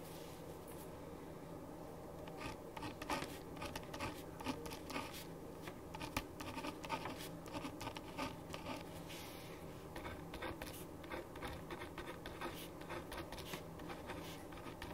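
A hand writes with a black ballpoint pen on a printed paper sheet lying flat on a wooden desk. The pen tip makes quick, soft, dry scratches in irregular strokes that continue throughout the clip, over a faint steady low hum.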